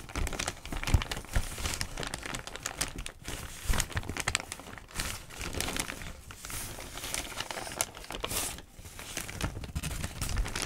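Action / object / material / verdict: scrape / thin newsprint newspaper sheets / paper / none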